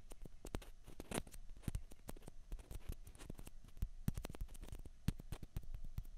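Fingernails tap and scratch two small hollow white plastic ping pong balls, one held in each hand. Quick, sharp, bright clicks come in a rapid irregular patter, with soft scratchy rustling between the taps.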